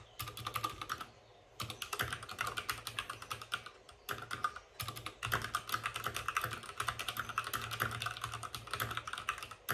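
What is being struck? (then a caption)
Plastic mechanical keyboard. Fingertips of both hands type fast on a white RGB-backlit mechanical keyboard with plastic keycaps and a hollow plastic case. Dense, bright, clacky keystrokes come in quick bursts, with a low thock from the hollow case under each press. Brief pauses break up the typing.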